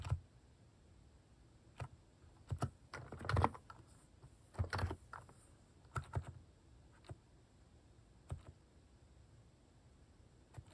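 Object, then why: Plastic mechanical keyboard. A hand types across a plastic mechanical keyboard fitted with cat keycaps, pressing the keys with its fingertips. Soft, low, thocky keystrokes come in irregular bursts and scattered single presses, each dying away almost instantly. A few quick flurries run together over a quiet background.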